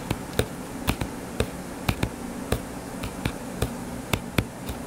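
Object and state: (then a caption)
Hardcover paper book. Fingertips and short nails tap on the blue cover of a closed, solid hardcover book with a paper page block, lying flat on a table. Thirteen short, dry taps come at an irregular pace, each with a soft low thump and a bright click that dies away almost instantly. A faint, steady low hum sits underneath throughout.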